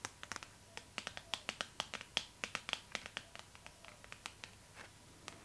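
Long nails tap and scratch the glossy paper cover of a Vogue magazine held in the hands. About 27 sharp, bright clicks come in quick, uneven bursts, each dying away almost at once, with a faint scratchy rustle between them. The tone sits mostly in the high range, peaking around 3.2 kHz, with almost no low end.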